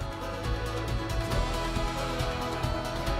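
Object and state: Nothing is struck.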